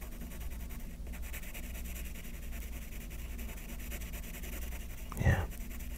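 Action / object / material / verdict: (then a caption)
scrape / graphite pencil on paper sheet / paper / none. A yellow graphite pencil scratches and shades quick strokes on the top sheet of a stack of white paper sheets resting on a table and held by one hand. A steady, soft scratchy rustle runs over a low background hum, with a brief louder, brighter scrape near the end.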